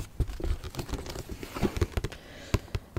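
Fingernails tap quickly and irregularly on the back of a large cardboard Monopoly board game box. The taps are dry, short, hollow knocks with a low, boxy thump and almost no ring, some landing harder than others.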